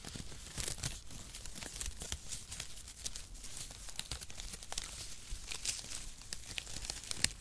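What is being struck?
Crumpled cardboard shred strips.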